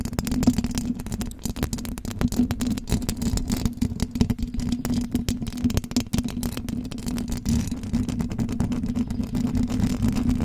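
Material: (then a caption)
Metal mesh. Long blue acrylic nails on both hands vigorously scratch the hollow metal mesh grille of a silver condenser microphone. The result is a dense, continuous rasping and crackling, heavy in low rumble with a steady tone around 234 Hz and little high-end content.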